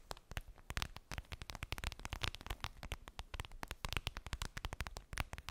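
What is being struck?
Clear vinyl zip bag.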